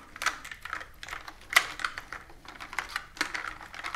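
Fingertips with long nails type continuously on a pastel plastic mechanical keyboard with round keycaps, resting on a wooden table. A steady stream of short, bright, clicky key taps with little low end, each dying away almost instantly, with a few louder strikes standing out.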